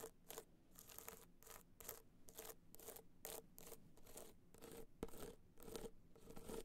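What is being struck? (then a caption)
Hard-shell clutch covered in rhinestones. Long nails scratch across the face of a small, hollow, hard-shell clutch covered in gold rhinestones while it rests on fur. Quick, repeated bright scraping strokes come in rapid bursts, each with a faint tone around 450 Hz and almost no ring after it stops.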